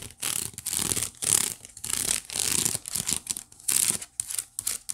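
Long nails scratch across the woven ridges of a white wicker basket, making a bright, ratchet-like rasping sound in a series of separate strokes. The scratching is dry and mostly high-pitched, with little low end.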